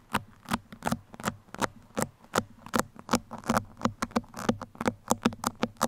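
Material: Foam.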